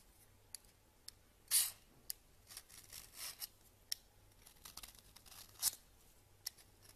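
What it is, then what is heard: Bar of soap. A solid pale yellow bar of soap is shaved with a red peeler, each scraping stroke lifting off curled shavings. Quiet, bright, crisp scrapes and short sharp ticks are heard, with the louder strokes near the start and end, separated by softer rasping passes.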